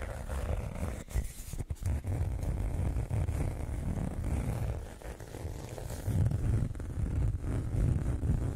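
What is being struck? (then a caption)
Small flat rubber foam pad. A small, flat, oval pad of solid blue rubber foam, held in one hand, is scratched with fingernails. The result is a steady, low, rumbling scratch with uneven swells and brief dips, heavy in the bass with almost no bright top.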